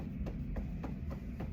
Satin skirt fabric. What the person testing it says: le bruit de la nonextensibilité c'est ça c'est de même ça sonne un tissu qui est pas extensible